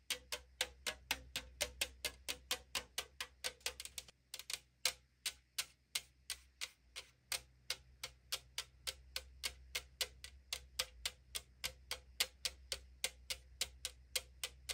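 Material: Aluminum.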